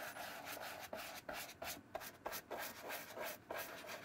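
A wooden-handled bristle brush is rubbed repeatedly over the leather upper of a hollow brown leather shoe with a brass buckle, held in one palm. About seven quick, slightly uneven strokes, roughly three per second, each make a bright, bristly swish with a faint midrange ring.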